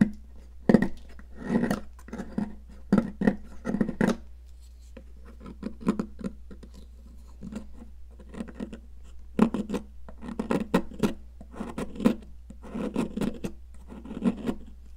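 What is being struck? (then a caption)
Sidewalk chalk stick and metal palette knife. A metal palette knife scrapes a solid pink popsicle-shaped sidewalk chalk stick, sending pink powder onto blue crumbs on a plastic mat. Bursts of dry, gritty scraping strokes with short sharp clicks repeat throughout, centered on a low hum-like tone around 220 Hz. Faint background music may be present.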